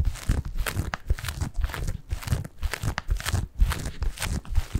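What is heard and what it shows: A medium-sized, soft padded white bath tub pillow covered in textured plastic mesh is held in both hands and scratched and squeezed with fingertips close to the microphone. It gives a rapid run of crinkly, scratchy rustles and soft crunches, with a heavy low, muffled rumble under thin bright scratch streaks.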